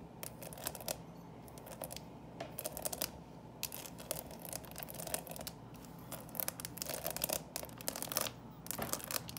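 Long painted nails scratch and tap the closed lid of a small, hollow, clear plastic coffin-shaped box full of Reese's Pieces and a plastic skeleton. Bursts of bright, rapid scratching and crisp clicking tick against a faint steady background hum.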